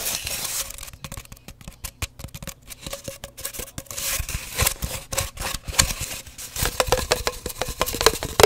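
An empty, hollow cardboard paper towel roll held in both hands is tapped and scratched by fingertips and long nails. Quick, dry clicks and hollow knocks with a faint resonant tone near 430 Hz alternate with bright, rustling scratches in an irregular, busy rhythm.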